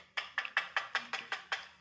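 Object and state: Dry puffed rice cake that sounds like cardboard.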